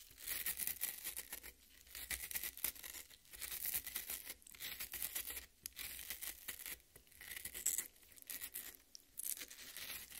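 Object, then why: Cut watermelon half. Long red nails scratch and dig into the broken-up red flesh of a half watermelon. The result is a quiet, bright, crackly scraping that comes in dense bursts with brief pauses between them.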